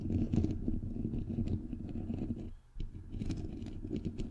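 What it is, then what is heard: Metal mesh microphone grille, tapped and scratched. Fingernails rapidly tap and scratch on a bare microphone head with a hollow, white perforated metal mesh grille. The result is a dense, low, thumpy patter mixed with scratchy texture, with short, dry hits. It pauses briefly near the middle, then resumes.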